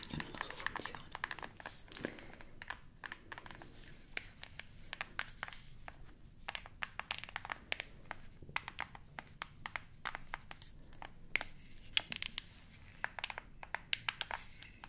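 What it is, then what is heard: Plastic TV remote control. Long nails press and tap the rubber buttons of a hollow black plastic TV remote, making a steady stream of quick, bright clicks and taps. The sharp, dry hits vary in loudness over a low, soft rustle underneath.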